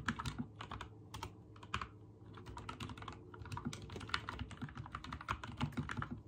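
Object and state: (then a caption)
Mechanical keyboard with plastic keycaps. Fingertips type rapidly on a backlit mechanical keyboard with white and teal plastic keycaps, producing a dense run of sharp, bright clicks that die away almost instantly. A brief lull comes about two seconds in before the fast typing resumes over a steady low hum.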